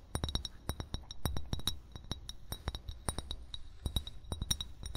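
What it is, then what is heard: Glass bottle. An upright, hollow amber glass bottle is tapped with the short fingernails and fingertips of both hands. The taps come in a quick, irregular series of short clinks, each with a bright glassy ring over a dull low thump, and none of them lingers.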